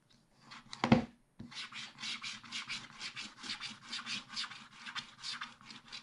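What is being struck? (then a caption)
Scratch-art paper sheet scratched with a wooden stylus. A wooden stylus scratches the black coating of a scratch-art paper page in a spiral pad, working at the right edge while the left hand holds the pad. A louder scrape comes first, then a brief pause and a steady run of short, rhythmic, bright scratching strokes with a faint low rustle underneath.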